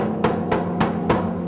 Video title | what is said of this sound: Distillery Operations at West Virginia Distilling Co. | when I bang on it, you hear a completely different sound. See, much baser, lower, and when you've got pressure in it, it really gets tinny.